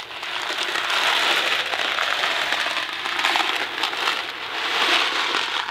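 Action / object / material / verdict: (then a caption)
shake / cardboard box filled with dry macaroni / cardboard / none. A Kraft macaroni & cheese box made of thin cardboard and filled with dry pasta is gripped in one hand and shaken and tilted so the pasta rattles. The result is a continuous, dense, bright rattling and crackling with almost no low end, swelling and easing in waves for the whole clip.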